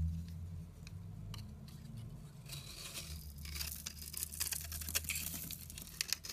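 A palm-sized, solid rectangular orange bar of soap held in the hand is shaved and scraped with a utility knife blade, peeling thin layers off its surface. Soft, dry scraping and crisp, crackly shaving strokes build from a quiet start into a denser run of bright ticks and scrapes over a low hum.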